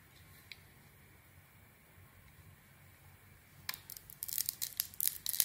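A metal blade carves scraping cuts into a palm-sized, solid red glitter-lettered bar of soap held in the hand, peeling off slices to reveal the white core. After a few seconds of near silence with one faint tick, bright, crisp scraping and tearing bursts begin and grow denser and louder toward the end.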